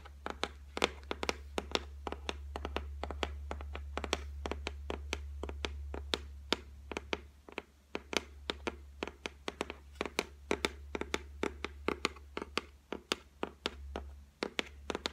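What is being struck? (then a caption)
Laminated shelf top. Long white nails tap rapidly on the solid, flat top of a white laminated shelf, making about sixty sharp, dry clicks that die away almost instantly. The taps come in quick, uneven bursts over a steady low hum that briefly drops out partway through and again near the end.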